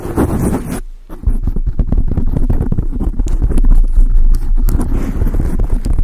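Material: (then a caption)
Foam. Long acrylic nails scratch and tap on a large dark grey foam windscreen fitted over a microphone. The result is a dense, muffled stream of deep thumps and rustling scrapes, dropping briefly quieter around the first second before continuing steadily.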